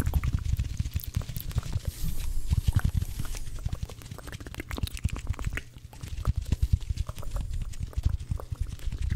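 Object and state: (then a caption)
Dry cellulose kitchen sponges. Two dry blue cellulose kitchen sponges, one held in each hand, are tapped and rubbed against each other quickly and continuously. The result is a dense run of short, soft, low thumps mixed with scratchy, brushing friction, which swells louder and fades a little over the clip.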